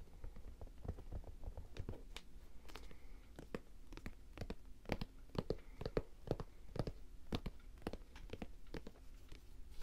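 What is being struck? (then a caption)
Leather high-top sneaker. Fingers tap and scratch the pebbled leather upper of an empty white Jordan high-top basketball sneaker with a light blue rubber sole. The result is a quiet, steady run of short, dry taps and crinkly scratches that stop instantly. Each hit has a soft low body and a brief bright click on top.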